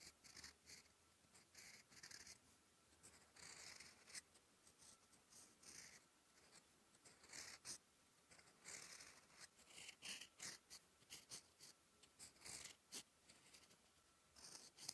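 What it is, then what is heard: Pen nib writing on lined paper. A steel fountain pen nib, held in the fingertips, writes Korean letters on a thin sheet of lined writing paper lying flat on a desk. It makes quiet, bright scratching strokes that come in short bursts separated by brief pauses. The strokes have almost no low end and no ring after them.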